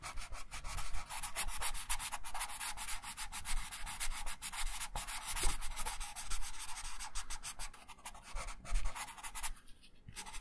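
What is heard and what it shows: A wooden colored pencil held in the right hand rubs and shades in quick strokes across a thin printed paper coloring sheet lying flat on a wooden table. It makes a steady, dry, scratchy rubbing with a bright papery hiss over a low rumble, in rapid back-and-forth pulses that ease briefly near the end.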